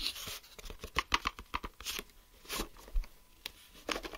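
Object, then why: Clear plastic geometry set case with drawing tools inside. Fingertips and nails tap and scratch the shell of a closed, hollow clear plastic geometry set case filled with drawing tools, first on the back and then on the front. Quick, sharp plastic clicks carry a bright, tinny ring, broken up by short scratchy swishes across the surface.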